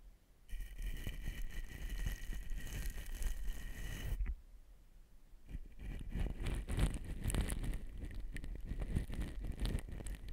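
A soft pink cosmetic brush, held in the fingertips, is swept along the body of a long black slotted metal shotgun microphone, a hollow tube mounted on a stand. The result is a dense, rustling scrape heavy in low rumble, with faint steady tones near 2 kHz for the first four seconds. After a brief quieter gap, the brushing resumes with a brighter, crisper texture.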